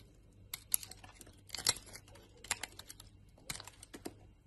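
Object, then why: Solid bar of soap. A utility knife blade shaves a solid white Lux soap bar into dry flakes. It makes quick, crisp, bright scraping crackles in short bursts, with near-silent gaps between cuts.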